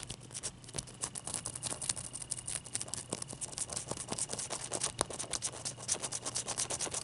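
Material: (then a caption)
Ice. Long dark-painted nails rub and scratch the wet surface of a clear solid ice cube held in the hand. The result is a dense run of quick, bright, crisp scratching strokes that rise and fall in loudness, over a faint steady high tone and a low hum.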